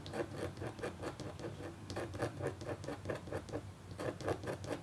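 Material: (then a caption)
Copper foil. A red-handled, metal-tipped stylus scratches across a flat, black-coated copper foil scratch art board in longer rasping strokes. The result is a quiet, steady run of dry, gritty scrapes that pulse unevenly, each stroke brightening briefly over a low background rumble.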